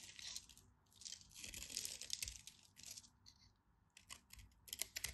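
A utility knife blade scrapes and scratches across the cross-hatched surface of an orange solid bar of soap held in the hand. The result is a quiet, bright, dry crackling and scratching in dense bursts, with brief lulls between strokes.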